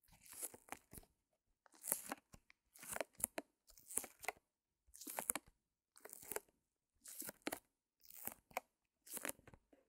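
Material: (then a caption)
Plastic film. Long nails scratch and tap a small white canvas still in its clear plastic wrap, lying on a fur rug. Nine short bursts of bright, crinkly plastic crunching come at a steady pace, each made of several quick scratches, with near silence in between.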